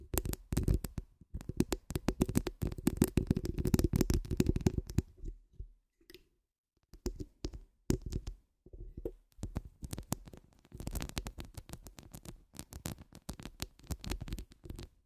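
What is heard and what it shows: Long acrylic nails scratch and click across a hollow woven metal mesh microphone grille, making dense, rapid scratchy clicks with a heavy low thump. Bursts of fast scratching are broken by a brief near-silent pause around six seconds. Softer, sparser taps follow, then the busy scratching picks back up.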